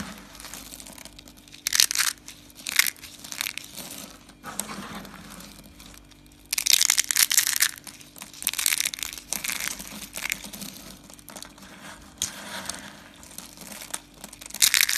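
A green dry soap curl is crushed in the fist over pink soap flakes. It makes bright, crackling crunches in irregular bursts, some louder and denser than others, with quieter rustling in between.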